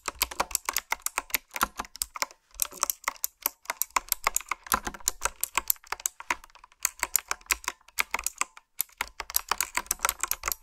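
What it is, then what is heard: Mechanical keyboard with plastic keycaps. Long manicured nails and fingertips type on a retro, typewriter-style mechanical keyboard with a dark frame and round backlit plastic keycaps. The result is a steady stream of crisp, bright clicks and clacks with almost no low end, broken by brief pauses between bursts of typing.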